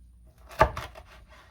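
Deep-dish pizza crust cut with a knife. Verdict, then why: Crispy. A knife cuts straight down through a cheesy Chicago-style deep-dish pizza in a cast iron pan after it has rested about 5 minutes. It makes a short, sharp crunch followed by a brief crackle. The crisp sound shows the crust is crispy and the bottom is baked through.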